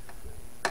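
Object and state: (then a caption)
Hollow, empty section of plastic soil pipe. A screwdriver taps a plastic soil stack to find a blockage, giving two short, hollow ticks with a brief ring. The second tick is louder. The hollow sound means the pipe is empty at that height, above the blockage.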